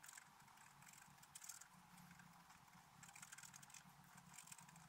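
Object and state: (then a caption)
Scratch art paper being scraped. A wooden stylus scratches a black-coated scratch art paper card, working mostly around the antlers while the other hand steadies the sheet. A continuous bright, dry rasp of quick scraping strokes swells and fades in short bursts, over a faint low steady hum.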